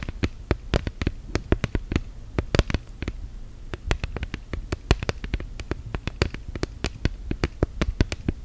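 Long gel nails tap on an orange silicone case fitted on a smartphone, making a rapid, irregular series of short, dull clicks. Each tap is brief and soft, with a low thud and almost no ring.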